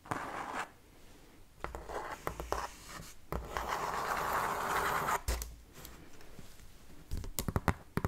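Long painted fingernails tap and scratch a large, hollow, empty-looking corrugated cardboard shipping box. Dry, papery scratching swells and fades across the clip in longer rasping stretches, broken by sharp hollow taps that cluster near the end.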